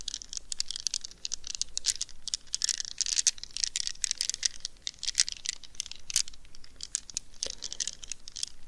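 Long nails scratch and squish a small, soft rubber stress ball wrapped in a plastic mesh net, held in both hands. The result is a dense, continuous run of bright, crackly scratching and crinkling with many quick, sharp clicks and very little low end.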